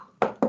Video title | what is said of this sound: Aula Exame Físico Abdominal | O som timpânico é um som oco.